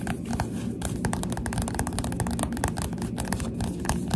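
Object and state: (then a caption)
Paperback book with glossy cover. A Goosebumps paperback book with a glossy cover is held upright while the fingertips of both hands tap rapidly on its front cover. The result is a dense run of soft, dull, low-heavy taps, each dying away almost at once, with brief brighter clicks on top.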